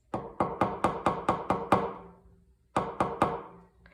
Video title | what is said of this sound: Clay frogs | If I take this clay that is hardened out and I tap it on the table, listen to what it makes. It sounds hard, right?